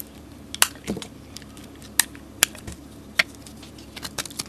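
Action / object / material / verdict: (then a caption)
scrape / bar of soap scraped with a blade / soap / none. A solid orange soap bar with glitter, held in the hand, is scraped with a utility blade. Quiet background is broken by several sharp, bright clicks and crisp scraping snaps that stop instantly with no ring.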